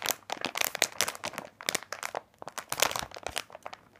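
Fingertips of both hands rub and press a large printed plastic bag of candy corn lying flat and full of small packs. The result is dense, bright crinkling with quick crackles in irregular bursts and almost no low end.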